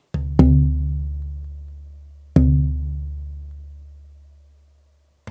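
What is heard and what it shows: A small piece of torrefied (roasted, aged) spruce soundboard tonewood, held close to a mic, is tapped four times to check its tap tone. Each tap gives a dull knock followed by a low, resonant ring near 74 Hz with a few overtones, decaying slowly over about two seconds. The last tap is cut off at the end of the clip.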